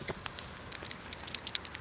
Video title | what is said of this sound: Sortenreine Apfelsäfte aus Riedenburg: Schatzsucherin Luise Naderer -Zwischen Spessart und Karwendel | Man muss schon kräftig schütteln, aber klappert.